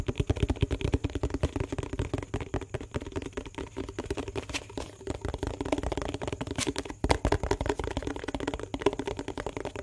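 Fingertips and nails tap quickly around the rim and sides of a small, hollow yellow plastic dishwash bar tub with a lid, held close to the microphone. The result is a dense, steady stream of short, dry, hollow clicks with a low, boomy body and very little ring. A slightly louder flurry comes around the seven-second mark.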